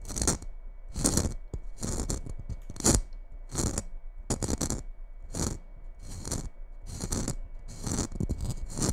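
Long red acrylic nails tap and scratch the rough glitter surface of a small, seemingly hollow red glitter-covered Christmas ball ornament held just above the microphone. Irregular bursts of bright, gritty scratching alternate with soft low taps and short pauses.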